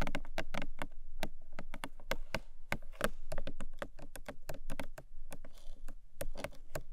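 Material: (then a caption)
Cardboard. Long pastel nails tap rapidly and scratch across the top of a long, narrow, hollow pink-beige printed Emi Jay cardboard gift box lying on a fluffy rug. The result is a steady stream of short, dull, hollow knocks with a soft scratchy rasp mixed in, mostly low-toned with very little brightness.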